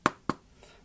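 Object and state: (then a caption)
Plastic tablet back, not metal. Two sharp fingernail taps on the plastic back cover of an Acer Iconia W510 tablet, which looks like brushed metal or aluminum. Each tap is a short, bright click that dies away almost at once, showing the back is plastic, though it still feels high quality.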